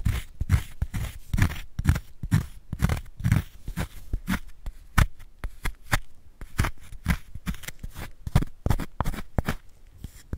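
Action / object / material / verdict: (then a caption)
scrape / magnesium carbonate chalk block / chalk / none. A small wooden spoon repeatedly scrapes a square, palm-sized solid block of white magnesium carbonate gym chalk held in a gloved hand over a bed of chalk powder. Each stroke makes a short, dry crunching scrape with a soft, low thud. The spoon gouges out powder and leaves a hollow in the block.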